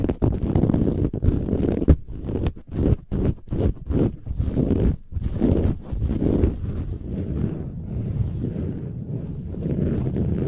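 Long nails on both hands scratch hard across a large, soft, filled cushion with a textured silver-gold metallic woven fabric cover. The result is a dense, rough scraping rustle, heavy in the low end, with quick rhythmic strokes in the middle and steadier continuous scratching toward the end.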